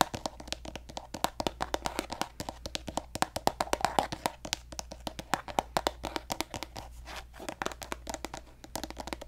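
Fingertips and nails tap and scratch a hollow pink plastic cosmetic squeeze tube of lotion, producing a fast, uneven stream of many dry, hollow clicks with very short decay. Soft scratchy rustling fills the gaps, the taps centre around a midrange tone near 750 Hz with bright edges, and a faint steady low hum runs underneath.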